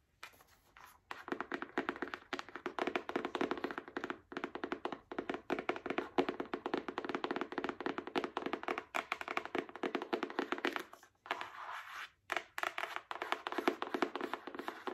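Long acrylic nails tap quickly and continuously on the card cover of a small, solid paperback book. The taps are dry, short, mid-pitched clicks and thunks with almost no ring. They come in a dense stream with brief pauses near the start and around eleven and twelve seconds.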